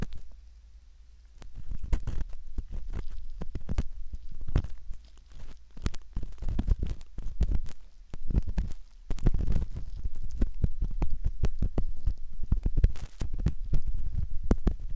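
A metal ear pick scratches around the canal entrance of a soft silicone ear model, heard very close up. The sound is a dense run of short, dry scrapes and crackles with a low, muffled rumble underneath. It starts quiet for the first second or so, then builds into near-continuous scratching with a few brief lulls.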